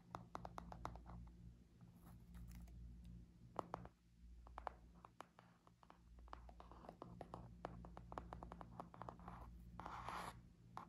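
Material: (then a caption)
Cardboard. Long nails tap and scratch the laminated cardboard cover of a small spiral notebook with black metal wire binding, held in both hands. Quick, dry, clicky taps and rough scratchy scrapes come in rapid runs with no ring, over a steady low hum. A longer, brighter rasping scratch rises near the end.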